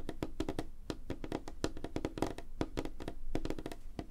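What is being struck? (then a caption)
Wooden tabletop. Both hands tap rapidly on a large, flat, solid light-wood tabletop with fingertips and short nails, the hands spreading apart as they go. The result is a fast, dense run of short, dry knocks with a woody tone around 316 Hz and a strong low thump underneath, each tap dying away almost instantly.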